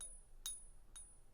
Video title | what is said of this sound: Silver Safety! How NOT to be Fooled by Fake Silver | sometimes it's a little better than that but it's not going to have that beautiful sound